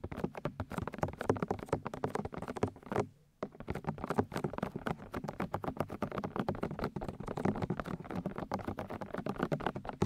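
Long nails and fingertips tap and rub the white silicone ear shells of a 3Dio binaural microphone. A rapid, steady stream of soft, muffled taps and scratchy brushes, dense and low-to-mid heavy, pauses briefly for a moment of near silence around the three-second mark before resuming.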